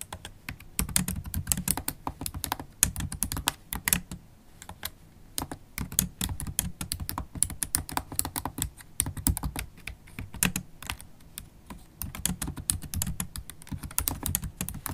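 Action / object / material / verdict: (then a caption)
tap / plastic laptop keyboard keys / plastic / none. Two hands with long, pointed holographic acrylic nails type fast and continuously on a MacBook Pro keyboard, whose black plastic keys are set in an aluminium body, so both nails and fingertips press the keys. The result is a dense stream of short, sharp, bright clicks over soft low thumps, with brief lulls around four seconds and again near eleven seconds.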